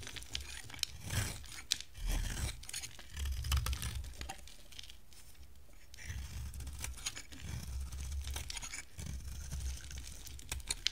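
An oval, hand-sized, solid yellow bar of dry soap with a teal rim is held in the hand and shaved with a box-cutter blade, peeling off curls. Bursts of crisp, dry scraping and tearing come one after another, with bright, gritty edges and short clicks, over a low, muffled rumble.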